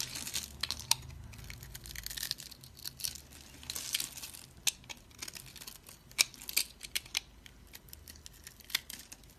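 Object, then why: Bar of soap scraped with a blade. A utility blade scrapes small crunchy cubes off a solid oval teal bar of dry soap, held in the hand and scored into a grid. Dense, bright crackling and crunching fill the clip, broken by sharp, quick snaps that die away instantly, with a faint low hum beneath.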